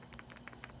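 A small, not perfectly round stone amulet known as a batong alog, with another stone loose inside it, is shaken by hand. Six short, dry clicks rattle out, bright and quick, over a faint low hum. The stone rattles audibly even though it is solid stone.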